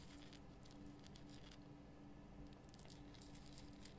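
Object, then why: Rock salt lamp. Long fingernails scratch all over a large, solid pink Himalayan rock salt lamp with a rough crystal surface, lit from inside. Quiet, crackly scratching comes in bright, high bursts over a steady low hum, easing off briefly in the middle before picking up again.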